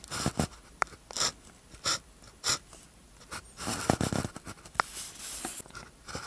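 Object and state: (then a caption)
Ballpoint pen writing on paper. A blue ballpoint pen tip scratches across a thin paper sheet with a red grid, lying flat, as it writes characters. Short, dry, bright scratchy strokes come in quick bursts with brief pauses between them, some ending in sharp little taps. The sound is close and quiet with no ring after each stroke.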